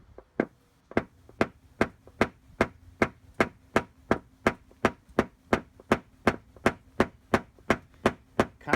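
A tool repeatedly taps down the high crowns around a large dent in a steel car body panel, striking 23 sharp, bright taps at a steady pace of roughly three per second. The high-pitched ring shows the metal is still tight at a tensioned high spot, and the pitch begins to change as the crowns are broken down.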